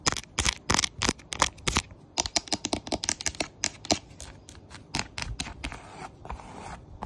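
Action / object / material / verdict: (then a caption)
scrape / thin cork memo board / cork / none. Fingertips and nails rub and scratch the rough surface of a flat, thin, solid printed cork memo board. Quick, bright scratchy strokes come in rapid bursts, then thin into softer, steadier rubbing toward the end.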